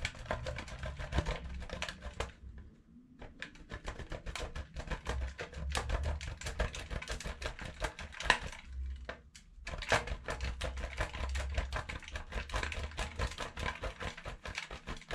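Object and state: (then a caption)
Bar soap grated on steel grater. A solid yellow bar of soap, held in the fingers, is grated against a stainless steel box grater in rapid scratching strokes. The result is a dense run of dry, crisp rasps with bright crackle over a low rumble, with brief pauses near the 3-second and 9-second marks before the grating resumes.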